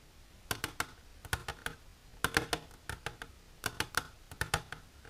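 Long silver-polished natural nails tap the walls of an empty, hollow, transparent hard plastic tray-like container held upright. The taps come in quick, irregular bursts of sharp, bright clicks, each dying away almost instantly, with a faint hollow resonance in the mid range.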